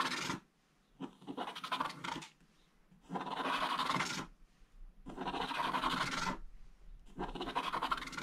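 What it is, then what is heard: Scratch-art paper being scraped. A wooden stylus scrapes vertical strips near the bottom edge of a flat scratch-art book page, where a black coating covers gold foil. Five bursts of dry, rasping scratching, each about a second long, are separated by short quiet gaps. The scraping carries a bright, gritty texture with a faint steady tone in the midrange.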